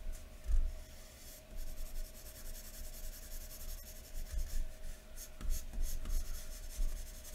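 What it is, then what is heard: Pencil shading on drawing paper. A graphite pencil held in the fingers scratches across thin white drawing paper lying flat on a wooden table in continuous shading strokes. The result is a steady, dry, bright scratching with soft low thumps, rising and falling in rhythm with each stroke.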